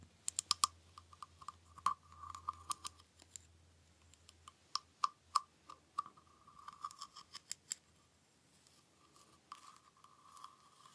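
A small hollow green wooden frog guiro has its ridged back scraped with its wooden stick, giving about twenty sharp, dry clicks and short rasping scrapes. Each has a hollow, woody tone around 1.2 kHz with bright ticking on top, and the taps and strokes are separated by quiet gaps. A faint low hum sits underneath for the first five seconds.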